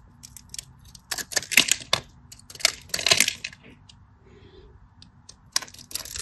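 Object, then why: Bar of soap cut with a metal blade. A metal craft knife slices shallow lines and shavings from a solid cream bar of soap held in the fingers. Short, bright, crisp scraping cuts come in uneven clusters, the loudest in the middle, over a faint steady hum. Each stroke stops almost at once with no ringing.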